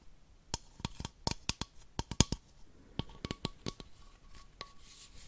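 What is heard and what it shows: Long nails tap an empty, hollow, clear plastic baby bottle held in one hand, making about fifteen quick, dry clicks at an uneven pace. Each tap is bright and sharp, dies almost at once, and leaves a faint hollow ring near 1 kHz.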